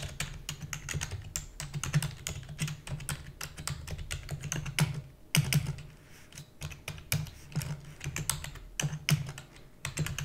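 Fingertips with long natural nails type rapidly on a black full-size plastic computer keyboard with hollow key housing. A fast, steady stream of short, sharp clicks rides over a hollow low thump, with bright nail ticks on top and brief pauses between bursts. Each keystroke dies away almost instantly.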